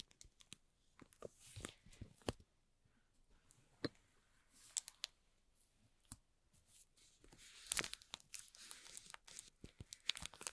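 A small, hollow rectangular cardboard box for an LED light, tightly covered in clear plastic shrink wrap, is held in both hands while fingertips and nails rub and scratch the plastic film. Bright, dry crinkles and scratchy rustles come in quick bursts with sharp clicks between quiet pauses, each stopping almost instantly with no ring.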